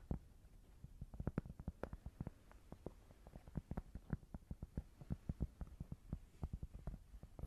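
Fingers tap on a cork board in a quick, irregular run of dull, muffled thuds. Each tap is short and low-pitched, stopping almost at once with no ringing tail.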